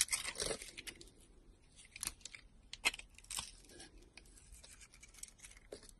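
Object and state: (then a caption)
Glitter-coated soap bar being sliced. A utility knife blade slices into a solid soap bar with a red glitter coating and white core, held in hand. Quiet, crisp, bright scraping and crackling cuts come in irregular strokes, with a few sharper snaps standing out above a soft, steady hiss.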